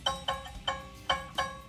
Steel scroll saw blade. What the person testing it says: that sounds like a good pitch all right that's what you need to do and it feels nice and tense